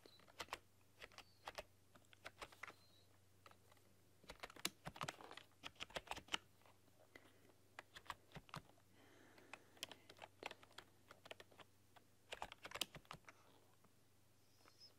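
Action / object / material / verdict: tap / plastic computer keyboard / plastic / none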